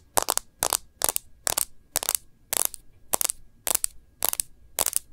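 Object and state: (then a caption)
Smartphone in plastic case. Long nails tap the edge and glass screen of a smartphone in a plastic case, held sideways. About ten quick bursts of sharp, clicky taps with bright, dry clatter and no ring. Each burst is a tight flurry, with short pauses in between.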